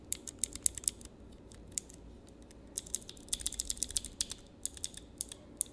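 Fingertips rapidly press and click the switches on a small handheld clear plastic mechanical switch tester fitted with clear plastic keycaps. Sharp, bright, short clicks come in quick bursts, with a sparse stretch in the middle, over a faint low steady hum.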